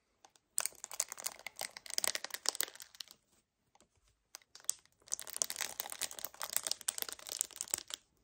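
A hollow 1 L white paperboard kefir carton is gripped hard and scratched with short painted nails. The sound is bright, dry crinkling and scratching in two bursts with a pause between them.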